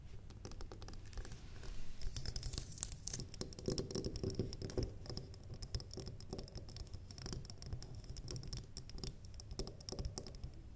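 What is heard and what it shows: A medium, square, cream-colored solid wax candle standing on a wooden table is tapped and scratched with long glittery nails. Dense, soft clicks and scratchy rasps overlap continuously, with dull low thuds underneath and brighter scratching texture in the highs.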